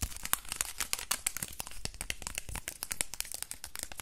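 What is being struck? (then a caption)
Aluminium foil ball. A small crumpled aluminium foil ball, held close, is crinkled and rubbed between fingertips. The result is a dense run of sharp, dry crackles and crinkles with bright hiss, each snap dying away almost instantly over a low rumble.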